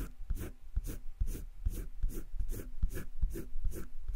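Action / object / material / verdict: scrape / colored pencil on drawing paper in a spiral sketchbook / paper / none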